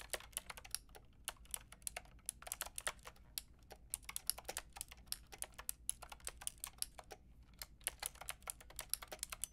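Long painted nails and fingertips type steadily on a pink and white plastic mechanical keyboard with round plastic keycaps. Quick, bright clicks and clacks come in uneven bursts, each very short and dry, over a faint low hum.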